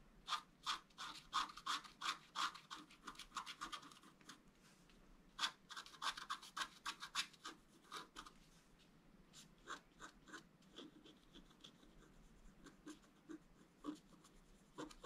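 A wooden stylus scratches lines into the tree trunk on a flat scratch art paper card. It makes quick, bright, dry scraping strokes in a busy, uneven rhythm. The strokes thin out and soften toward the end.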